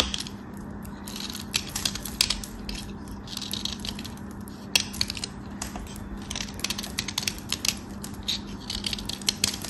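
Half of a small solid white soap bar is held in the fingertips and scraped and sliced with a metal craft knife blade, building up powdery shavings on the blade. Dense, bright scratchy crackles and short clicks repeat throughout over a steady low hum.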